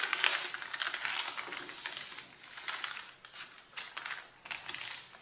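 Both hands rub and crumple the top sheet of a flat, solid stack of thin white A4 printed paper with fingertips and nails. The result is a continuous, bright, dry crinkling and rustling with scattered sharp crackles, strong in the high range and with no low end.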